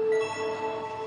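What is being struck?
Nothing is struck.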